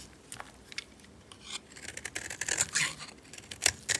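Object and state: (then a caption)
Dry bar soap being shaved. A metal utility knife blade shaves and carves a solid, dry pink oval bar of soap held in a hand with long white nails, scraping and flaking curls off. Crisp, bright scraping strokes come in irregular, quick succession, each short and dry with no ring. They grow louder and denser toward the end.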